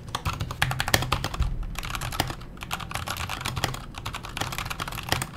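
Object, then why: Mechanical keyboard with metal case and plastic keycaps. Fingertips type steadily on a backlit KONO kira mechanical keyboard with Hako Clear switches, a metal case and plastic keycaps. The quick keystrokes pair bright, sharp clacks with a low, hollow thump under each press, and the sound dies away almost instantly. A few harder strokes stand out from the even run of keys.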